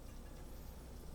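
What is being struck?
Nothing is struck.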